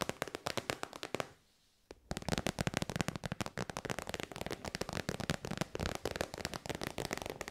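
Long white nails rapidly tap the end of a hollow, shiny pink metallic faux-leather synthetic pouch, producing dense, crisp clicks with short, dry decays. The tapping stops briefly for a near-silent pause, then resumes in a fast, continuous flurry through the rest of the clip.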